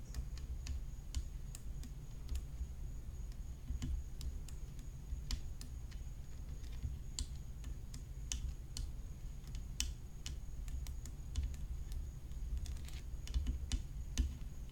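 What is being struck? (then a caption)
Graphite tennis racket frame with glued rhinestones. Long acrylic nails tap along the hollow frame and glued-on rhinestones of a graphite composite tennis racket lying flat on a black cloth. The result is a quiet, irregular stream of short, dry, bright clicks that stop almost instantly, over a steady low hum and a faint constant high tone.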